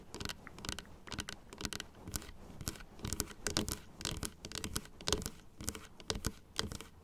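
Long blue acrylic nails tap and scratch across the white teeth of a small hollow plastic dental model with pink gums and a blue base, resting on a stand. Quick, uneven bursts of bright clicking and scratching follow one another, each one short and dry with almost no ring.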